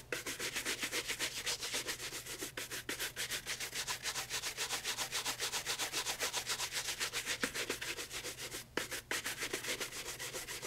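A brown leather loafer held in hand is brushed rapidly with a horsehair shoe brush across the upper and sole edge. The result is a steady run of quick, bright, scratchy bristle strokes, about three to four per second, with a faint low hum underneath.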